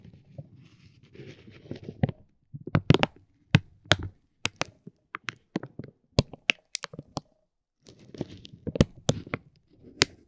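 A metal ball-tipped stick pokes and rubs a clear soft vinyl bag wrapped around a hollow roll of glitter tape resting on a gold plate. Soft, low crinkling rustles alternate with short, sharp taps that spread into bright highs and stop almost instantly, with brief quiet pauses between bursts.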